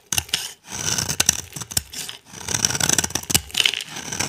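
A utility knife blade scrapes a solid, dry, translucent orange glycerin soap bar held in the hand, shaving off dry flakes. The result is a run of bright, crisp scratching strokes with sharp clicks and little low end, separated by brief pauses.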